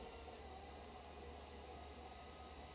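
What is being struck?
Nothing is struck.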